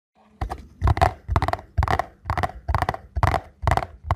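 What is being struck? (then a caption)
Small paperboard box. A small printed paperboard box for a ZOLA ankle support, possibly holding a soft product, is held in both hands while fingertips and nails tap and scratch its front and sides. Repeated bursts of dull, low, hollow taps mix with crackly scratching, each dying away quickly before the next begins.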